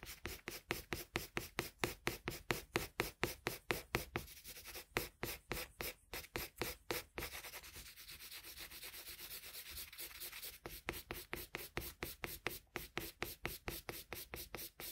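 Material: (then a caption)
Paper. A colored pencil tip is rubbed over a flat sheet of drawing paper in shading strokes, making quick, bright, scratchy back-and-forth rasps at roughly two per second. Partway through, the strokes blur into a steadier, continuous rubbing before the separate rhythmic strokes return.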